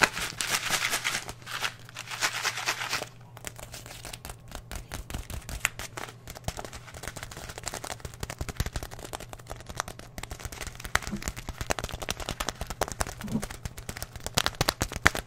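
A 500 g bag of oat flakes, made of paper or plastic and filled with oats, is held in both hands and crinkled and squeezed with the fingers. Bright, dense crinkling rustles fill the first three seconds, then give way to quieter, sharp crackles and crunches with a steady low hum underneath.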